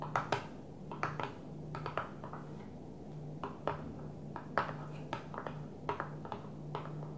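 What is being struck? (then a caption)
Plastic container lid. Long fingernails of one hand tap on a flat blue plastic container lid lying on a table, making a loose, irregular series of short, dry, clicky taps with a bright edge that die away almost instantly. A steady low hum runs quietly underneath throughout.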